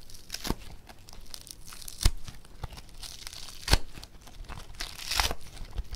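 Two hands pull apart blue foam bead clay (floam) with pink and green streaks and squeeze it with their fingertips, making a continuous crunchy, crackling tearing sound. Sharper, louder crunches stand out over the steady crinkle, and the sound is bright and dry with no ringing.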